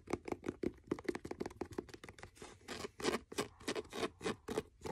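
Fingernails scratch the spine and page block of a blue faux leather hardcover notebook, turned to show its spine and page edges. A rapid series of short, dry scratching strokes with a low-mid tone near 355 Hz, some longer rasping scrapes in the middle, and bright hiss on each stroke. Each stroke stops almost instantly with no ring.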